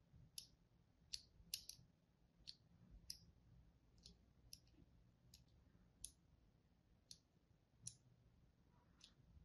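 A small, thin pointed tool held at the fingertips repeatedly scores and scratches into the dry surface of a blue-and-white striped solid bar of soap held in the hand. Thirteen short, sharp, bright clicking scrapes stand out at irregular intervals, each dying away almost instantly over a faint low background hum.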